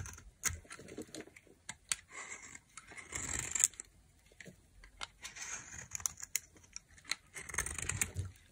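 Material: Soap.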